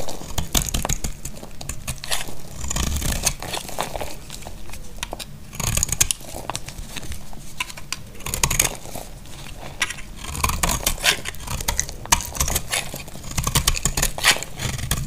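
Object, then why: Bar soap cut with a blade. A utility blade scrapes and cuts into a solid, dry, rectangular white bar of soap, shaving off crunchy flakes. Dense, crackly crunching and scraping come in repeated bursts, bright and crisp on top with a low, muffled body underneath.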